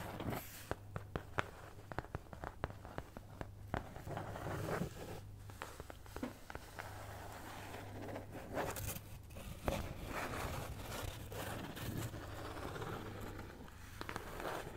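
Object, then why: Thin cardboard cutout. Long manicured nails scratch and tap a thin, solid, hand-sized cat-head cutout of flat brown kraft cardboard (possibly thin fibreboard) held in front of the mic. Sharp dry clicks land over a continuous rough scratching, with a steady low hum underneath throughout.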